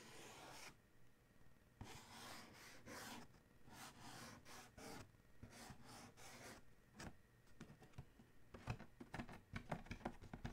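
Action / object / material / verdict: scrape / cardboard shoe box / cardboard / none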